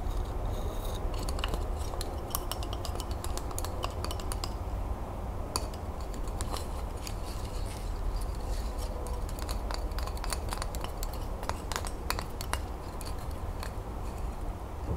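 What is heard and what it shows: Long nails scratch the bark of a bundle of bark-covered, solid wooden twig pencils tied with twine and tap quickly on the flat pencil ends. Sharp, bright clicks and dry scratching sit over a steady low rumble.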